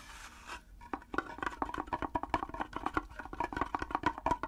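A small wooden mini hand drum, hollow with a round frame and a long wooden handle painted with red dots, is tapped on its head and frame with the natural fingernails of one hand. After a soft hiss in the first half second, a quick, irregular run of crisp, dry fingernail clicks follows, each with a brief hollow ring around 1 kHz that dies away almost at once.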